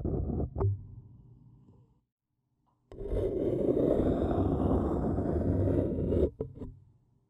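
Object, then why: Small empty paper cup scratched with a thin wooden stick. A thin wooden stick scratches the outer wall of a small, hollow, empty white printed paper cup standing upside down. A brief scratch with a sharp tap fades out, and after a pause comes a steady, rough papery scraping lasting about three seconds. It ends with a few soft knocks that die away.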